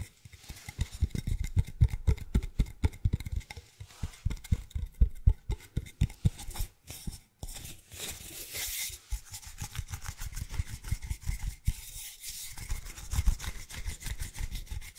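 Fingertips and nails rub and scratch the surface of a long, hollow, empty brown cardboard tube, held upright and then horizontally. Quick, uneven scratching taps carry a low, hollow thump, giving way at times to softer, steadier rubbing with a bright, papery rasp.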